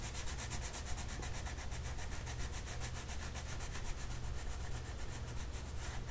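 A purple colored pencil rubs and scratches across a printed paper mandala coloring sheet lying flat on a table while the other hand holds the sheet steady. Quick, even back-and-forth strokes make a continuous bright scratching hiss over a steady low hum.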